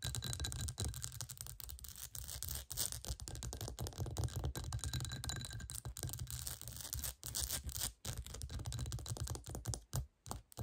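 Long nails scratch fast over the bumpy surface of a clear, hollow, textured glass bowl turned upside down. The sound is a dense, continuous rasping with a heavy low rumble underneath and a bright, hissy top. Brief dips interrupt it around 2.6, 7.2 and 8 seconds, and it breaks into short bursts near the end.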